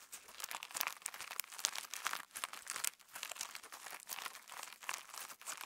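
Fingertips pinch, fold and press clear slime filled with pink and purple plastic star sequins up close, producing a steady stream of quick, bright crinkling and crackling bursts. The sound is thin and high with almost no low end, rising and falling in short clusters for the whole clip.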